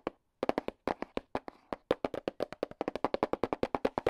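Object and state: Hollow cardboard box.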